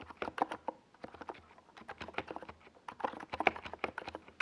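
Fingertips of both hands type fast on a compact 68-key NiZ Plum Atom 68 mechanical keyboard with a white plastic case and purple and yellow Domikey Gas Attack SA plastic keycaps, resting on a desk pad. A rapid, uneven stream of short, dry plastic clacks with a midrange body around 750 Hz and bright click tops, each dying almost instantly. Brief pauses break the bursts of keystrokes.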